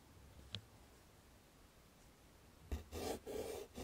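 A chalk stick writes the letters "ME?" on a wood-framed chalkboard. A faint tap sounds early, then near-silence, before firm, gritty scratching strokes fill the last second with a rough midrange rasp and bright hiss.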